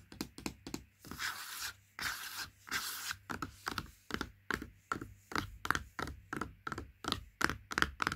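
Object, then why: Laminated cardboard juice carton. Long nails tap the side of a large Princes juice carton made of laminated cardboard with a plastic cap, lying on carpet. Quick, crisp hollow taps come in a steady rhythm, broken early on by a few longer, brighter scratching strokes. The tapping then continues as short, dry clicks with a light papery ring.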